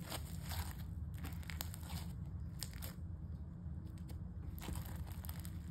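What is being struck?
Foam-bead slime.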